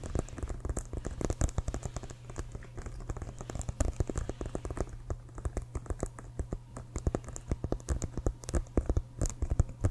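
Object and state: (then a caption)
Leather football tapped with fingernails. Fingernails tap and scratch the surface of an inflated, hollow leather American football. The result is a dense run of quick, dry, hollow taps with soft scratching between them, over a steady low hum throughout.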